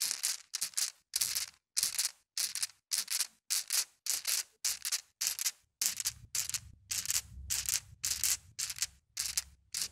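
A dozen or so small, solid-colored glass marbles in a white plastic mesh net are swung and shaken by a hand above, bumping onto a soft carpet and knocking against each other. About eighteen short, bright, rattling clicks come in a steady rhythm, each a crisp clatter with almost no ring. A faint low thump joins the bursts in the second half.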